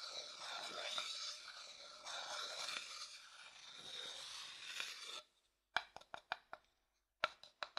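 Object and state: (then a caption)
Wooden bowl. A thin wooden stick scrapes around the inside of a small, light-coloured, hollow, empty wooden bowl for about five seconds, making a bright, steady rasping sound. It then taps the bowl ten times in two quick bursts, each a short, dry, woody knock with almost no ring.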